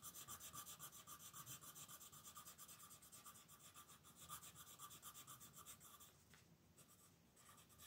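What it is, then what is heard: Pencil shading on paper. An orange wooden colored pencil scratches back and forth across the dinosaur outline on a thin paper coloring book page resting on a table, shading with steady strokes. Each stroke makes a bright, papery rasp with a faint tone near 1.2 kHz, repeating about four times per second. The scratching grows softer briefly near the end before picking up again.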